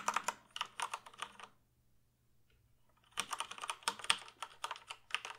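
Fingertips type on the keys of a full-size plastic computer keyboard held up in the air. Quick, bright, clicky taps come in two bursts, separated by a pause of about one and a half seconds, and each tap dies away almost at once.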